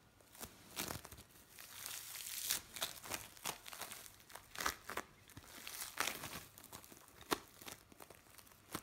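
A lump of blue bead play foam is squeezed in the hands and then pressed flat with the palms. This makes a steady run of bright, dry crinkling and crackling with short sharp snaps and almost no low end. Loudness swells and dips through the squeezes, with a louder stretch near the middle.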